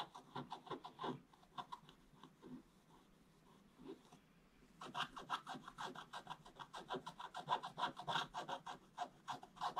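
A wooden stick scratches across a flat, solid, black-coated scratch-art page in short, bright, raspy strokes. The strokes come sparse and uneven at first, with a quiet pause near the middle. They then turn into a rapid, steady run of scratching strokes through the end.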